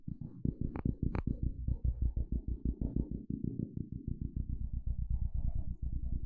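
A wooden stick is scraped across the teeth of a small, solid blue plastic fine-tooth hair comb held close to a microphone. It makes a rapid, continuous run of low, thuddy ticks with a deep bass rumble underneath, and two brighter snaps stand out near the start.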